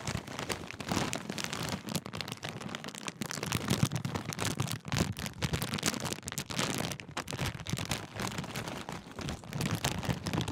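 A large Walkers crisp packet made of thin metallised plastic film is held up while fingertips crinkle and fold the bag. The result is a dense, continuous crackling with sharp bright crunches and a soft low rumble underneath, swelling and easing throughout the clip.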